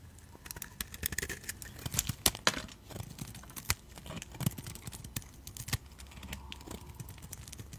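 A utility knife blade shaves thin curls off a solid white rectangular soap bar held in a hand with red nails. Quick, crisp scraping and cutting clicks come in an irregular run of short bright bursts over a soft low rumble, each stopping dry with no ring.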